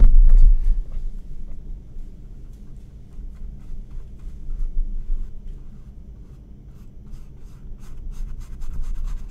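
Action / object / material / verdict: scrape / paintbrush on stretched cotton canvas / cotton canvas / none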